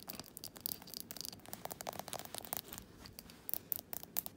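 Fingernails tap and scratch the glass sides and rim of a small glass jar candle filled with solid wax. The result is quiet, bright, dry scratching broken by short, sharp clicking taps with almost no ring.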